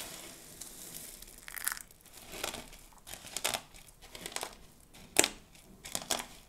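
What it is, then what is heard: Dry soap flakes crushed. Fingers rake through and crush a heap of mixed dry soap flakes. Irregular bursts of dry, bright crunching and crinkling rise over a faint rustle, with the sharpest crush near the end.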